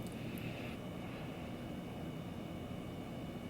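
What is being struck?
Nothing is struck.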